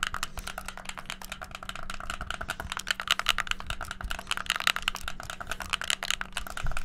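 A hollow white plastic gamepad with black buttons is pressed rapidly with fingertips and thumbs on its buttons and d-pad. The result is a fast, dense stream of short, dry plastic clicks and taps with a bright edge, centered around 1.4 kHz. A faint steady low hum sits underneath.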